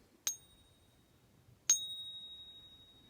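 An American Silver Eagle silver bullion coin, held in a gloved hand, is struck twice against the side of another Silver Eagle for a ping test. Each strike gives a bright, high-pitched ping, and the second rings out longer with a slowly fading tone. The pitch is the one a genuine coin should give; a higher or lower pitch could mean a fake.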